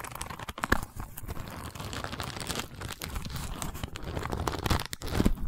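A long woven wicker cylinder, held horizontally, is scratched with the long nails of both hands. The result is a continuous dry, crackling scratch with a strong low rumble and occasional sharper crunchy accents.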